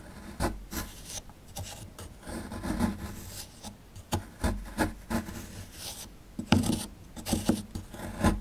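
A small chisel scrapes and digs at the chalky surface of a small, solid plaster fossil excavation block, beside the skeleton relief. About a dozen irregular, gritty scrapes and short taps rasp across the plaster, with dry, dull tones over low rumble and brief, quickly fading crunches.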